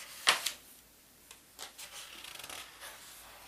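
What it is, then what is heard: Paper atlas pages being rubbed. A flat palm and fingertips rub across the thin paper index pages of a large open paper atlas and lift a page corner. Two sharp, bright paper crackles open the clip, followed by softer brushing and rustling with a quick run of light flicks near the end.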